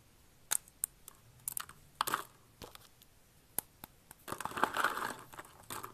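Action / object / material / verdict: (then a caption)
scrape / soap shavings / soap / none. Fingers with long red nails press, snap and crush thin, brittle blue and pink dried soap flakes in a box. Sharp, bright crackling snaps come in scattered bursts, then a denser stretch of crunchy crumbling near the end.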